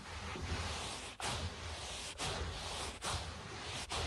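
Short nails scratch and scurry across a low-pile speckled carpet, making a dense, bright, rough scratching noise with a soft low rumble underneath. The scratching runs in steady bursts broken by brief pauses.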